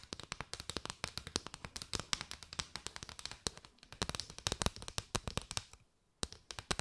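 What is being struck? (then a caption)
Bundle of paper straws. Long white nails tap and scratch quickly across a curved bundle of striped, hollow paper straws, making a dense run of sharp, dry, bright clicks with a faint scratchy rustle between them. Each tap dies away almost instantly, and the tapping stops for a brief pause near the end before starting again.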